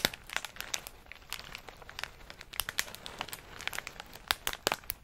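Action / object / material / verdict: shake / plastic snack bag of pistachios / plastic / none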